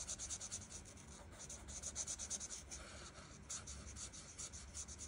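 The felt tip of an art marker rubs back and forth over the petals on a flat paper colouring page, held by fingertips with long nails. A soft, bright scratchy swishing pulses in quick, uneven strokes throughout, with little low end.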